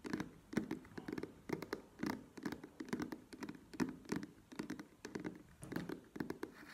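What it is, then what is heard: Plastic cream squeeze tube. Long nails tap the sides of a soft plastic cosmetic cream squeeze tube standing on its cap and held in both hands. The result is bursts of quick, dry, hollow taps with a low-mid body and brief bright clicks that stop almost instantly, with no ring.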